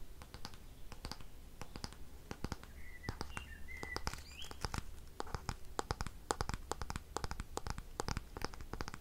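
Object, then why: Wooden paddle hairbrush. Long painted fingernails tap and scratch on a light wooden paddle hairbrush with a solid wood back and handle. A rapid, irregular run of crisp, dry clicks and scratchy strokes plays over a steady low hum, with the taps dying out almost instantly. A few brief squeaky tones near 2 kHz appear midway.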